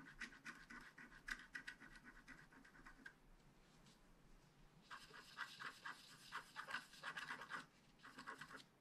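A wooden stylus scratches details on the unicorn of a flat, black-coated paper scratch card held at its lower edge. Quick, dry, bright scratching strokes come in bursts, fade to a quieter stretch near the middle, then return denser and louder.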